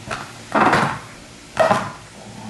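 A Charizard Pokemon figure from a Miniso Funism set, made of an unknown material, is knocked on while being unboxed. It gives dull, mid-toned knocks with a short ring, two louder ones standing out between quieter taps, and it sounds and feels very solid.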